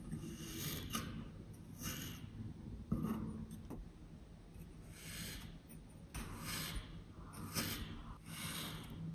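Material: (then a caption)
Kinetic sand. A handheld metal serrated knife blade cuts and scrapes through a flat, solid, moldable green kinetic sand clover shape resting on a white surface. Soft, gritty rasping strokes come in repeated bursts of bright, sandy hiss over a steady low hum, with a sharper crunch as the blade bites in.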